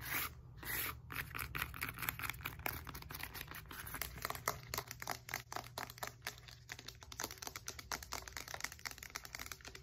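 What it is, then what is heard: Textured foam roller. Long nails tap quickly on the foam knobs of a black textured foam roller with a hollow core. A dense stream of short, sharp, bright clicks and scratchy ticks, each dying away almost instantly, rides over a faint low steady hum.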